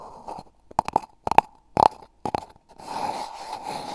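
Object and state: Cardboard tube scratched.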